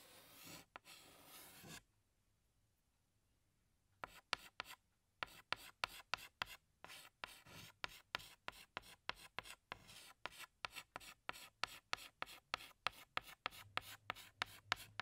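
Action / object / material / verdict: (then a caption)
scrape / chalk stick on a chalkboard / chalk / none. A hand scratches a tan chalk stick across a large, flat black chalkboard while drawing flower petals. Two longer, bright scraping strokes open the clip, followed by a pause of near silence. Then comes a quick, uneven run of dozens of short, dry, scratchy strokes that end abruptly with no ring.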